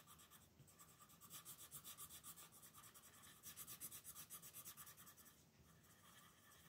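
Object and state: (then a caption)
Paper coloring book page. An orange wooden colored pencil scratches back and forth across the dinosaur outline on a thin paper coloring book page resting on a table, shading with steady strokes. The quiet, bright, papery scratching pulses rapidly, about four strokes per second, with louder bursts of strokes in the middle before easing off.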